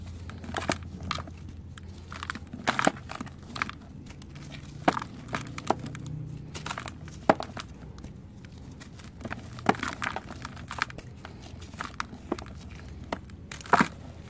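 A dried red soil clod held in the hands is crushed and crumbled with the fingers and palm, its crumbs falling into a white bowl of loose red dirt. Dry, sharp crackles and gritty crunches come in scattered bursts over a steady low hum, each snap short and dying out almost instantly.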